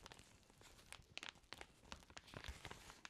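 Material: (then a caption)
Plastic. An empty clear plastic zip-top bag, held in both black-gloved hands, is crinkled and rubbed. It makes a quiet, irregular stream of sharp, bright crackles and rustles with a faint low rumble underneath. Each crackle stops instantly with no ring.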